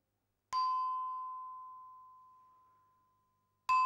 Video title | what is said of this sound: Human evolution: How our ancestors learned to speak, write and rule | a harmonious sound which is pleasing to the ear